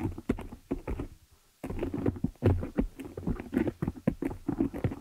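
Long nails of both hands scratch and tap the top and sides of the dark metal mesh grille on a hollow desktop condenser microphone. A rapid run of close, dry taps and scratchy strokes thumps boomy and low with a hollow mid tone; the taps stop dead with no ring. After a brief quiet pause, the tapping starts again.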